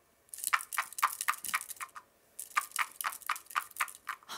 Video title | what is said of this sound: Learn Sounds With Sound Tubes - Caitlie's Classroom | It's a pretty quiet sound, but you can hear the tapping.